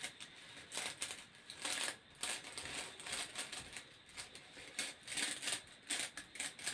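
A long, hollow, grey corrugated plastic hose is held in both hands while fingertips and nails scratch and run along its ridges. The result is a quiet series of short, bright, crackly rasps in quick irregular bursts, with almost no low end and very little ring after each stroke.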